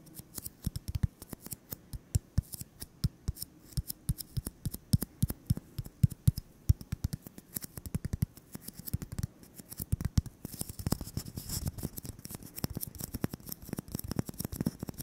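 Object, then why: Styrofoam ball. A solid white styrofoam ball about 8 cm across, held in the hands, is tapped and scratched with fingertips and short nails. Quick, dry, dull taps come in an uneven stream. After about ten seconds they give way to denser, continuous scratching with a brighter hiss.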